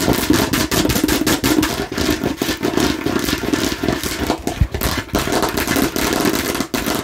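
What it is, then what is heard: Plastic toy watermelon slice. A fake plastic toy watermelon slice is tapped and scratched aggressively. Quick, dry plastic taps run together in a dense clatter, layered over a scratchy rasp. Each hit dies away almost at once, with no ringing.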